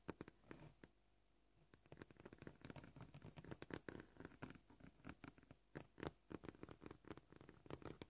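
Short polished fingernails of both hands tap a flat, solid white plastic cutting board with knife scratches as it lies on a table. Quick, dry, clicky taps come at an uneven pace in bursts, with a brief pause near the start. Each tap dies away almost instantly.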